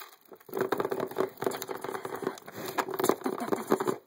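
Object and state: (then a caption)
Clear plastic poker chip case tapped. Fingers and nails tap fast along the top edge of the lid of a transparent hard plastic case full of poker chips. After a brief quiet start, a dense run of quick, dry clicks with a hollow ring around 390 Hz continues to the end, with very little low end and a faint bright edge.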